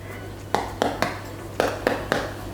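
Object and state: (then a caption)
Baked bread loaf, hollow (done). A bread loaf, baked for 25 to 30 minutes at 200°C, is tapped six times, giving short, dull, hollow knocks that fade quickly over a steady low hum. The hollow sound means the bread is baked through and ready.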